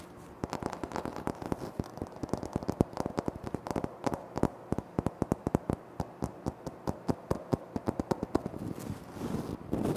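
Fingertips tap quickly on a flat, solid, speckled granite floor tile, and fingernails scratch across it. About fifty short, dry, crisp clicks sound in rapid, uneven bursts over a low, steady hiss. A rougher scratching noise swells near the end.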